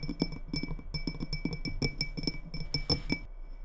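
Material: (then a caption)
Glass. Long red-painted nails tap and scratch a small clear glass tumbler, partly filled with liquid and held on a wooden table. A rapid run of light, clicky taps mixes with scratchy rasps, each tap dying away almost at once. A faint glassy tone near 2.3 kHz and brighter glints sit above a low knocking thump.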